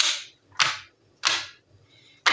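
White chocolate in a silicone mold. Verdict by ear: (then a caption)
Set. A silicone mold of white chocolate is tapped to check whether the chocolate has set properly, since the mold sounds different once the chocolate has firmed. Repeated sharp, bright clacks with fast decay are heard, with energy mostly high and little low end. The chocolate has set and is dry on top, ready to unmold.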